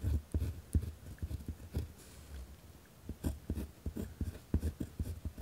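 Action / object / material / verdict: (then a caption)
scrape / pen on paper notepad / paper / none. A pen tip scratches across a white lined paper pad resting on a wooden desk while writing. Short, rough scratching strokes come one after another with brief pauses, mostly low and dull with little brightness.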